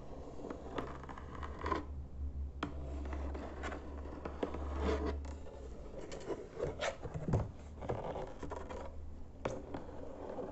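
Fingertips and nails tap and scratch across the top of a hollow white cardboard box with printed lettering on its lid. The result is soft, dry taps and rustling scrapes over a steady low hum, with little high-end brightness.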